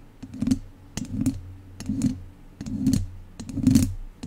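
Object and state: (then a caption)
Metal mesh microphone grille. Two wooden chopsticks scratch across a hollow metal mesh microphone grille in five short bursts of quick, clicky tapping and rasping. Each burst carries a low, boomy hum around 220 Hz and brief bright ticks that die away almost at once.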